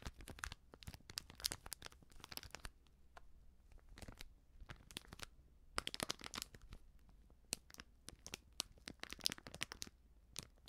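A small, sealed, filled plastic-foil baking soda sachet is crinkled and scratched with long nails. Clusters of bright, dry crinkles and sharp crackles come in irregular bursts, each dying away almost instantly, with brief quieter gaps over a faint low hum.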